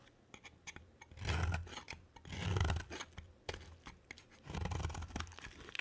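A rectangular, hand-sized, solid white dry bar of soap is held in one hand and shaved with a black-bladed utility knife, curling off soap shavings. A few light ticks and taps come first, then four longer rasping scrapes with a low rumbling body and a bright, gritty edge.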